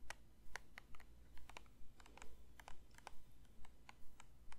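A plastic lotion bottle is lightly tapped with the fingers, making a steady series of soft, short, bright clicks that die away almost at once. A constant low hum sits underneath the taps.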